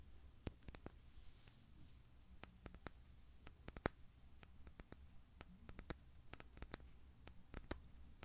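Fingernails tap and click on the black plastic lid and glass sides of a small, apparently full glass pudding jar held in the hand. The result is an irregular series of sharp, bright, very short clicks over a steady low hum.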